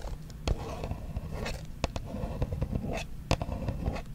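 Long acrylic nails tap and scratch across the surface of a small, hollow, white printed Versace cardboard perfume box held upright close to the microphone. Sharp, dry taps stand out over a soft, continuous scratching rustle with a low, hollow body. Each tap dies away almost instantly.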